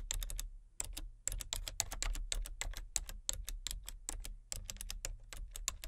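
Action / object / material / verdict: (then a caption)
tap / plastic computer keyboard / plastic / none. Long-nailed fingertips tap quickly across a full-size, hollow-bodied plastic computer keyboard with color-changing backlit keys, one hand on the letter keys and one on the number pad. The result is a steady run of sharp, bright plastic clicks with a high, clacky edge, each dying almost instantly, with a few brief pauses between bursts.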